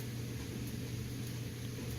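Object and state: Nothing is struck.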